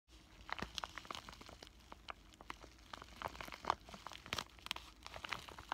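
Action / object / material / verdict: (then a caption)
scrape / plastic bubble-wrap zip pouch / plastic / none. A flat, thin pink plastic bubble-wrap zipper pouch with a printed paper insert inside is held in both hands and crinkled and squeezed with fingertips and short painted nails. It gives a steady stream of quiet, bright crinkles and sharp crackling snaps with little low end, each dying away almost instantly.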